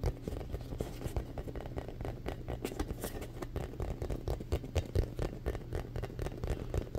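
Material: Foam.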